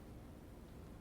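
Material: Nothing is struck.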